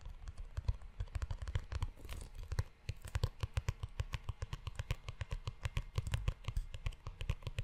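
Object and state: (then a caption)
Leather notebook cover. Fingertips tap and scratch the cover and spine of a brown, book-sized leather-bound notebook held close to the microphone. Dozens of quick, dull, low taps come in an irregular stream, each dying away almost instantly, with short stretches of soft scratching and rubbing on the leather between them.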